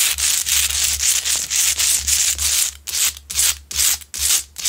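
Long pointed nails on both hands scratch the rough surface of a large, solid Himalayan rock-salt lamp lit from inside. The result is a dense, bright, hissing scrape that runs almost continuously at first, then breaks into separate quick strokes with short gaps, over a faint low hum.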